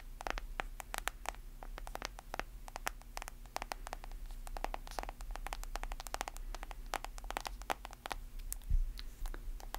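Long nails rapidly tap and scratch the screen and white plastic case of a hand-sized, black-screened smartphone that is solid. Dense, irregular clicks sound short and sharp with bright edges, mixed with soft scratchy scrapes. A steady low hum runs underneath throughout.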